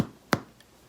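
A white sandwich bread loaf, turned out into a hand, is thumped once. It gives a short, hollow thud that dies away almost immediately, showing the loaf is baked through and ready.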